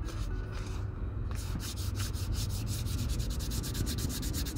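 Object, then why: Leather cowboy boot. Fingertips rub fine white sandpaper along the toe and vamp of an empty Red Wing Pecos 9801 leather cowboy boot. The sanding makes a steady, dry scratching with quick rhythmic strokes that turn bright in the second half, over a constant low rumble.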